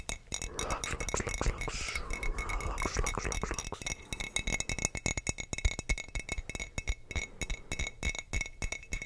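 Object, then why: Glass wine bottle. Fingertips tap rapidly on a hollow, clear glass sangria bottle, making quick, dry clicks with a faint glassy ring. The bottle is then tilted sideways while the tapping continues in a steady, dense patter.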